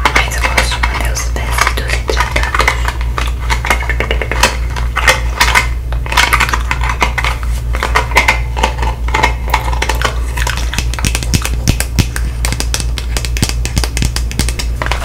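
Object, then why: Small round metal tin with lid. Long nails tap rapidly on the lid and sides of a round, palm-sized blue metal Nivea Creme tin with a lid. The result is a dense stream of short, bright metallic clicks and ticks that barely ring, over a steady low hum.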